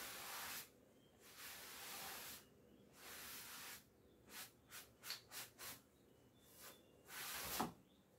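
A wooden-backed bristle clothes brush is rubbed over the front and shoulder of a navy cotton twill coat hanging on a door. Three long, bright, hissy brushing strokes are followed by five quick short strokes, a faint light pass, and a final longer stroke. Each stroke stops cleanly with almost no low end.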